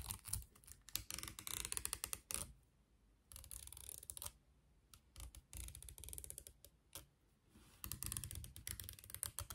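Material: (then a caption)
Plastic. Long nails run over and flick the teeth of a solid beige plastic comb with a long handle. They make bursts of rapid, crisp clicking and ratcheting ticks, with quieter scratchy stretches between the louder runs. Each tick is dry and short, with no ring after it.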